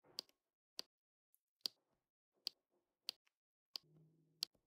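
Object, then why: Plastic resin drills pressed onto adhesive canvas. A pink plastic drill pen with a metal tip is pressed down repeatedly, tapping small dark resin rhinestone drills onto a flat adhesive diamond painting canvas. Seven sharp, bright, high clicks ring off almost instantly, each followed by faint soft rustles in the quiet pauses between them.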